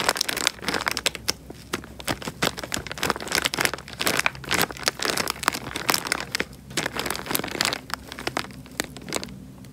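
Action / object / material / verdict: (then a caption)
scrape / thin plastic bag filled with water / plastic film / none. Fingers squeeze and crinkle the thin film of a small, clear plastic bag full of water. Dense, bright crinkling and crackling comes in quick, sharp bursts over a faint low background hum, with the rustling continuing throughout the clip.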